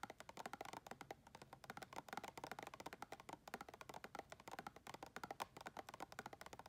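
Long red acrylic nails tap and click quickly on the side wall of a round clear plastic tub, held in the hand and filled with white plastic items. The result is a steady, rapid run of short, dry, hollow clicks with a mid-range knock and almost no ring, at a fairly quiet level.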